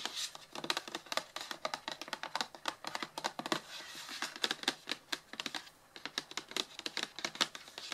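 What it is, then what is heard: Cardboard box tapped with fingernails. Long blue-painted nails tap and scratch the top and sides of a closed, hollow, medium printed cardboard retail box for Blue Yeti packaging, lying flat on a table. A rapid, uneven run of dry, bright clicks dies away almost instantly, with almost no low end, broken by brief softer scratching stretches.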